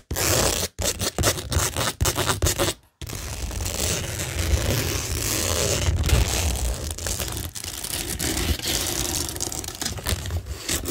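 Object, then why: Cork board covered with rhinestone mesh and gem stickers. Long nails scratch quickly across a flat, solid, framed cork tingle board covered with a pink rhinestone mesh sheet and pearl and gem stickers. Short, choppy bursts of gritty scraping with brief gaps give way after about three seconds to a continuous, dense rasp with a low rumble underneath and a bright, hissy top.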